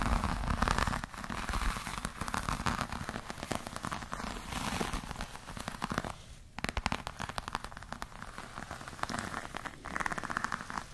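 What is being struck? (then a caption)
Croc-embossed patent leather bag. Long nails scratch and tap a black, glossy croc-embossed patent leather clutch with a metal clasp. The result is a dense, crackly, rain-like patter of quick clicks and rough scratching over a low, full body, with a brief quieter gap around the middle before the scratching resumes.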